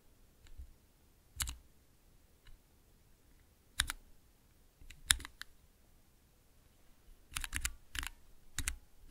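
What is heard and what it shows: Fingertips press the keys of a small clear plastic mechanical keypad with nine keys in a transparent acrylic case and Cherry MX switches. Short, crisp clicks are heard one by one with pauses between them, and a cluster of quicker presses comes near the end. Each keystroke has a bright, high click over a soft low thud and dies away almost at once.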